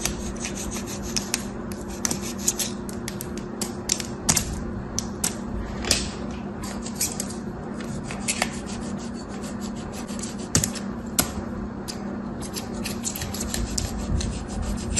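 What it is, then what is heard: Dry crumbly soap being scraped. A small metal craft blade with a black handle scrapes and carves dry, crumbly orange soap packed into a yellow flower-shaped plastic mold held in one hand, with crumbs falling onto the table. A steady, gritty rasping runs throughout over a low hum, broken by frequent sharp, bright ticks and crackles as the soap flakes away.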